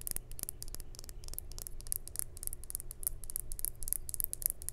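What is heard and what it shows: Long white acrylic nails tap and scratch the flat faces and edges of a small, solid, clear glass or crystal cube with laser-etched hearts inside, held in the hand. Quick, bright, dry clicks and scrapes come in a rapid, uneven stream with no ring. They sit over a steady low hum.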